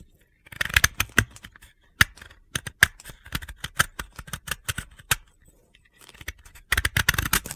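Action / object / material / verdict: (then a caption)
scrape / dry soap block scraped with a blade / soap / none. A hand-held, solid, pale blue dry soap disc has crumbly chips scraped off its edge with a utility blade. Quick, dry, crunchy scraping strokes come in bright, gritty bursts with almost no ring, grouped in clusters separated by short pauses.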